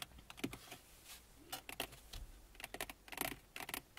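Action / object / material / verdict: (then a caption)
tap / hard plastic car dashboard / plastic / none. Fingertips and long nails of both hands tap and scratch on the top of a car dashboard made of large, textured hard plastic that is hollow behind. Quick, dry, clicky taps with bright, crisp edges come in irregular bursts between faint scratching, each one dying out almost at once.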